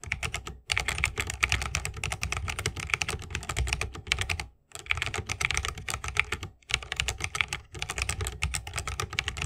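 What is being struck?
Mechanical keyboard, bamboo case, plastic keycaps.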